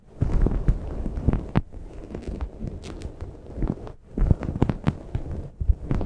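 Long painted nails scratch a grey microfiber towel laid over a Blue Yeti microphone, at both fast and slow speeds. The result is a muffled, low, thumping rumble of dense scraping strokes with brief quieter pauses, and almost no high end.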